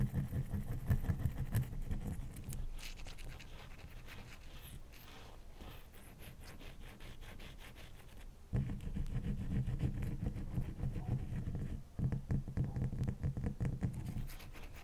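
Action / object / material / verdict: scrape / block of ice / ice / none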